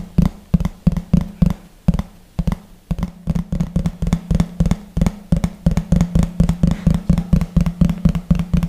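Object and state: Thin plastic plate.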